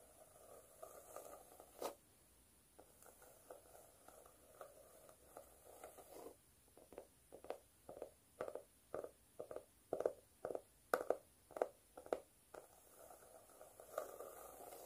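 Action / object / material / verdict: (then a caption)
scrape / cork notebook cover / cork / none. Long nails scratch a speckled cork notebook cover held at an angle, with a highlighter held but not struck. Soft, dry scratching rustles continuously at first, then turns into a run of quick, separate scratch strokes before returning to steady, gentle scraping. It stays quiet and mid-pitched, with occasional bright ticks.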